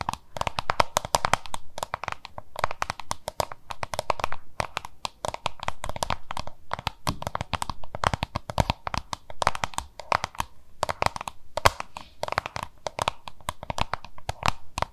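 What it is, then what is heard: Plastic lunch box. Long nails tap and scratch the labeled side of a small, hollow, oval yellow-green plastic lunch box. The result is a rapid, continuous stream of short, dry clicks and scrapes with a hollow midrange ring, and bursts of quick taps are broken by brief pauses.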